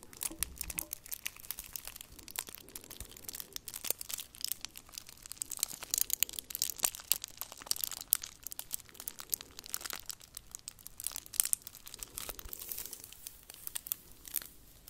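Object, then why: Foil-wrapped chocolate figure. A hand-sized hollow chocolate Santa in red and gold foil wrapping is held close to the mic while long nails and fingertips scratch and crinkle the foil. It makes a steady, quiet stream of dense, bright crinkling and sharp little crackles with almost no low end. Every snap dies away instantly.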